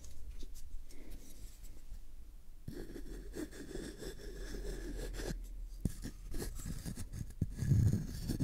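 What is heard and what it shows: Fingertips rub and scratch the surface of a hollow, empty brown cardboard tube held in one hand close to the mic. The result is a soft, dull, low-heavy scratching and rubbing with brief sharp ticks, thickening around the middle and swelling into a fuller rustle near the end.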